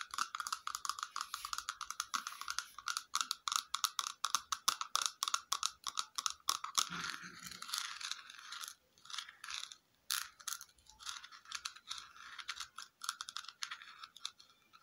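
Long fingernails tap rapidly on a small, hollow, red, glossy plastic cylindrical cup-shaped container, making bright, dry clicks with a hollow ring around 1.2 kHz that fades almost at once. The taps come in fast, dense runs and are briefly broken midway by a softer, fuller scratching sound. The pace then turns sparser and more irregular.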